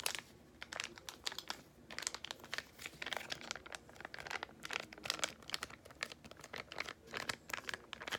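A small yellow laminated foil-plastic face mask sachet is held edge-on near the face and rubbed and crinkled between fingertips and long nails. The result is a steady run of bright, crisp crinkles and crackles in quick bursts, with almost no low end and no lingering ring.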